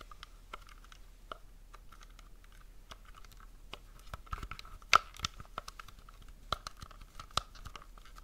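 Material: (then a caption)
Plastic. A hand-sized black plastic gamepad (Switch Pro-style controller) with a hollow body is held in both hands close to the mic and tapped and scratched with fingertips and short nails on its shell and grips. Sharp, dry clicks with a faint hollow ring around 1.3 kHz come in an irregular series over soft scratching, with the loudest taps near the middle of the clip.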